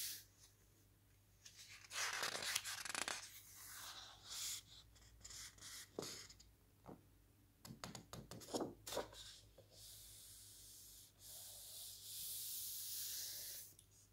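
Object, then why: Thick hardcover book with glossy paper pages. Fingertips lift and flip the glossy photo pages of a large, thick hardcover paper lookbook, then rub them flat. Quiet bright swishes and crisp flicks come in bursts, with a few sharp paper snaps and soft, steady rubbing strokes between turns.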